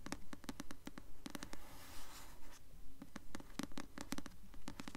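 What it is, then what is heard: Paperback book tapped and scratched with nails. Long nails tap and scratch the glossy paper cover of a blue paperback novel, "Delirium," held upright, producing quick, dry clicks in a steady rhythm. Midway, a soft broadband scratch sweeps across the cover before the crisp tapping resumes.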